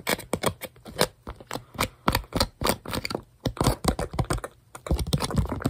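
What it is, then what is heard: Tempered glass screen protector. Bare fingertips and short nails tap and grip the surface and edges of a thin, flat, clear tempered glass phone screen protector. The result is a rapid, uneven series of light, dry clicks and taps with brief scratchy scrapes, each dying away almost instantly.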